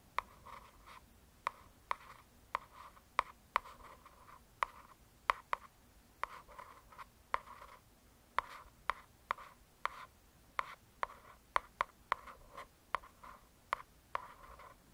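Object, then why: Hardcover paper book. Long nails scratch and rub across the glossy cover of a solid hardcover true crime paper book. About 23 sharp, dry clicks stand out from soft, quiet scratching strokes that center around 1 kHz with a slight bright edge. There is almost no low end and no ring after each hit.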